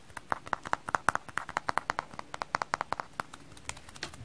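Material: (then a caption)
Sponge. A frozen-solid kitchen sponge is tapped in a quick, uneven series of about 29 hard, dry taps. Each tap is a short, clip-clop-like click centered around 1 to 1.5 kHz with a bright edge and almost no ring. The taps fade to softer ones near the end.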